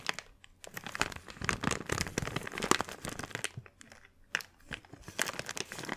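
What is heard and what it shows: A small, thin, empty clear plastic bag is squeezed, folded and crinkled between both hands. It makes dense, bright crackling and crinkling bursts with sharp snaps, easing into a brief quiet spell just before the four-second mark and then picking back up.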